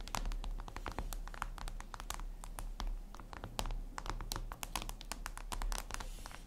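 Long red nails tap and scratch a flat, glossy black reflective glass surface, likely a tablet screen. Quick, sharp, bright clicks come in a rapid, uneven stream with light scratching between them, over a steady low hum.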